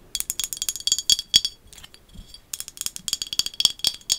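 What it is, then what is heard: Small glass bottle tapped with fingernails. A small, hollow, dark green glass bottle with a paper label is held up close and tapped and scratched with long acrylic nails. Quick, irregular bright clicks ring at about 3.3 kHz, with a quieter scratching stretch in the middle before the tapping resumes.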